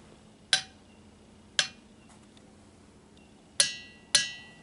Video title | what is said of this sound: 196 Trip to the Ringing Rocks of Montana | that was clearly a ring